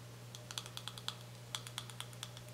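Fingernails tap rapidly on a small, full, white soft plastic cosmetic tube held between the fingers. About fifteen quick, bright, dry clicks with very short ring sit over a steady low hum.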